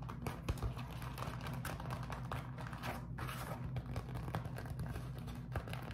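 A beeswax-coated cotton food wrap is pinched and crumpled, then rubbed with fingertips, producing a steady stream of soft, dense crinkling and sticky crackles. The crackles are short and dry over a constant low hum, with no clear pauses between them.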